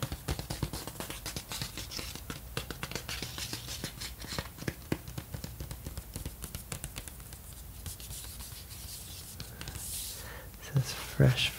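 Fingertips rub and scratch across the surface of a black cardboard 12-inch LP jacket with a white sticker, held upright, flat and hollow with a record likely inside. A steady, soft, scratchy rubbing is heard, full of tiny dry ticks over a low, hollow body. It ends with a few louder knocks.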